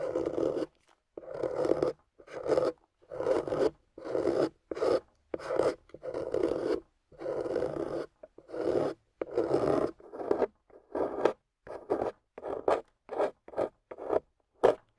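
A small, water-soaked block of soft clay with a golden coating is held in one hand and carved and scraped with a small metal carving tool with a wooden handle, with shavings piling up around it. The result is a run of short, dry, rasping scrape strokes separated by brief silences, centered in the midrange with little low end. The strokes come faster and shorter toward the end.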